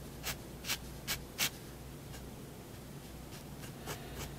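A thin fineliner pen tip scratches and rubs across a large sheet of thin, solid white drawing paper lying flat on a wooden desk as fine ink lines are drawn. Short, bright, dry scratching strokes come in an uneven rhythm, louder at first and then fainter, over a quiet low hum.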